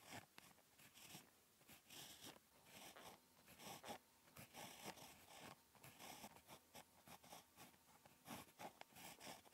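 A ballpoint pen tip scratches across a flat lined paper notebook page while handwriting Korean letters. The sound is a quiet, dry scratching in short bursts and strokes, bright and hissy with little low end.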